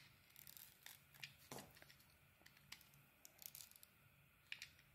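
A solid pink bar of soap with a yellow core, held in the hand, is shaved with a metal utility blade. Soft, bright scraping and crisp crackling strokes come in irregular bursts over a quiet, faint hum, with a few sharper snaps as the blade cuts through.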